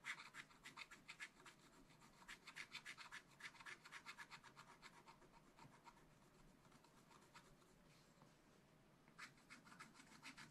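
A pointed wooden stylus held in the fingers scratches lines into a black wax-coated scratch paper page in a small spiral-bound pad, lying flat and solid, revealing colour underneath. Quick, irregular, bright rasping strokes repeat in fast bursts, ease into softer, steadier scraping toward the end, then return with a final run of sharp strokes.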